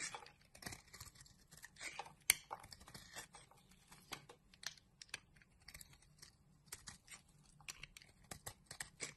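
A utility knife blade scrapes curls off a solid pink rectangular bar of soap held in the palm. A series of quiet, bright, crisp shaving and crinkling strokes follows, with one sharper click early on, each stroke short and dry with almost no low end.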